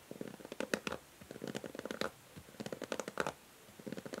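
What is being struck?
Plastic hair brush.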